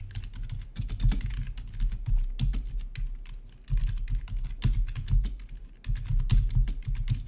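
Fingertips tap steadily on the keys of a full-size black plastic RGB backlit membrane gaming keyboard with a hollow body. The result is a run of soft, deep, hollow-sounding clacks that arrive in quick bursts with brief lulls between them, each tap dying away almost at once.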